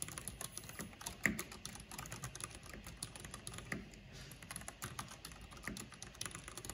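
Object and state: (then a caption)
Mechanical keyboard typing. Long painted fingernails and fingertips rapidly tap the keys of a full-size black plastic mechanical computer keyboard with a hollow housing and purple backlight. The result is a quick, uneven stream of short, bright clacks with a hollow low thump under them, plus a few louder strikes standing out from the steady patter.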